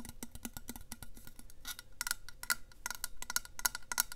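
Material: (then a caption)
Stainless steel. Long nails tap rapidly along the side of a tall, hollow, black powder-coated stainless steel Yeti water bottle held upright next to a lapel mic. The taps come as quick, crisp clicks with a faint metallic ping, softer at first and then sharper and brighter toward the end.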